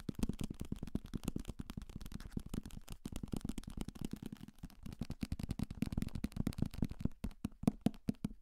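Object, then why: Paperback book, paper. Fingertips tap fast on a thick paperback novel, 'Salem's Lot', with a paper cover and pages, held as a solid block of paper in one hand near the microphone; the pages may also be riffled. Dozens of quick, dull, low thuds arrive in a steady dense stream with no ring, thinning into sparser, sharper taps near the end.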